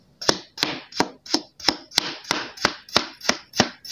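A steel kitchen knife chops pre-sliced solid pink kinetic sand hearts into crumbly pieces, the blade striking through the sand and onto the table. Twelve sharp, crisp chops come at a steady pace, each a short, bright crunch with a grainy, sandy hiss that fades quickly.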